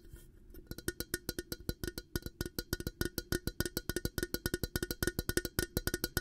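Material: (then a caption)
Glass. An empty, clear glass coffee carafe with a black plastic handle is held close and tapped on its hollow glass sides with fingertips and nails. Around forty quick, short taps come in an uneven, fast rhythm, each a dry knock with a hollow tone near 350 Hz and bright glassy overtones that die away almost at once.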